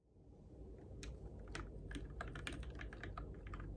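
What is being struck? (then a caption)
Mechanical keyboard with plastic keycaps. Fingertips type on the plastic keycaps of a Keychron K6 compact RGB-backlit mechanical keyboard in the dark. Irregular, crisp keystroke clacks with bright edges arrive at a steady-ish typing pace over a constant low hum. Each tap is short and dry.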